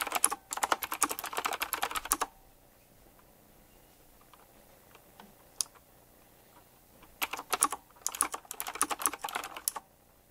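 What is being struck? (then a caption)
Mechanical keyboard with round plastic keycaps. Fingertips type on a retro typewriter-style mechanical keyboard with round plastic keycaps set in chrome rings. Two fast bursts of sharp, bright clicking are heard, with a quiet pause between them broken by a few isolated taps.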